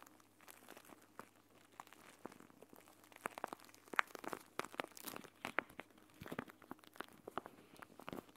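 A clear plastic gel bead eye mask, a pouch filled with green gel beads, is scratched with nails while it lies flat on a table, then picked up and squeezed with both hands. The result is quiet, irregular crinkly scratches and crunchy squishes. Sharp, bright clicks and rustles rise through the second half of the clip.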